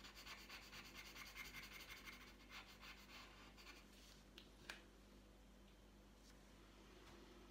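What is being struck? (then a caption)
Paper sheet scratched by a coloured pencil. A green wooden coloured pencil tip scratches and rubs rapidly back and forth across a thin, flat sheet of printed paper lying on a tabletop while colouring. The quiet, bright, gritty strokes repeat steadily for about four seconds, then fade to a faint hiss broken by a couple of short, sharp taps.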